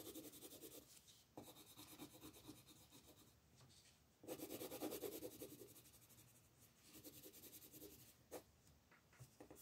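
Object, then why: Colored pencil on a paper page. A green colored pencil shades small areas of a flat paper coloring page lying on a table while the other hand's fingers hold the paper still. Short, quiet scratching strokes come in quick, uneven bursts, with a dry, bright rasp over a soft lower scratch. There are brief pauses between the groups of strokes.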